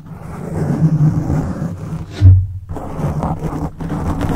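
Fingertips of both hands scratch and rub a black foam microphone windscreen, making a dense, muffled, low rumbling scrape. A heavier thump-like swell breaks the texture midway before the scratching resumes.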